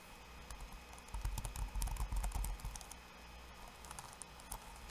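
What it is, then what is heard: Plastic laptop keyboard being typed on. Fingertips of both hands type on a backlit laptop keyboard with plastic keycaps. Quick, uneven bright clicks come with soft low thumps. The typing is densest and loudest in the middle of the clip, then thins to lighter, scattered taps.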